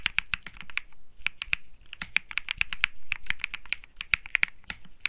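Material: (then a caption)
Plastic. Fingertips type continuously on a cream Think 6.5 mechanical keyboard with plastic keycaps and Bsun Lollipop switches. Around thirty short, crisp clacks with a bright click centered near 2.4 kHz come in quick, uneven bursts. Each one stops instantly, with a soft low thump underneath.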